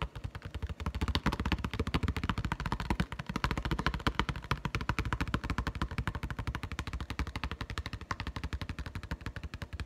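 Fingertips and nails tap very rapidly on a clear plastic blister on a retail card that holds a Nite-Glo putty egg. The result is a steady, dense stream of short, dull, low-heavy plastic taps with a faint bright click, each dying away almost instantly, continuing for the full ten seconds.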